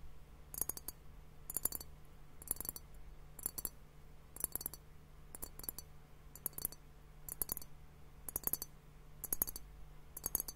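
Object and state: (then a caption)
Glass liquid hourglass tapped. A clear glass hourglass liquid timer filled with pink liquid and foam is tapped with fingertips and nails while tilted slightly. Short bursts of quick, bright clicking taps come roughly once a second, each dying away almost instantly. A steady low hum sits underneath.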